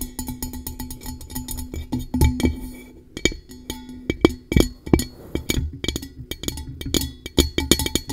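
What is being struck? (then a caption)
Upturned metal tumbler. Long nail tips tap quickly on the base and sides of an upside-down, blue-coated hollow metal tumbler. The rapid, clicky taps each carry a brief metallic ring around 316 Hz with bright overtones. They come in dense bursts with a short lull near the three-second mark.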